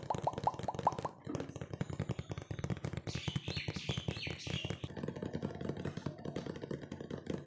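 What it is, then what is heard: Cardboard cookie box. A medium printed cardboard cookie box, hollow, is tapped with fingertips and nails while held up, giving a fast, dense run of dry, short taps with a hollow low thump. Early on, a few taps ring with a brief tonal ping around 860 Hz, and a brighter scratchy texture rises in the middle.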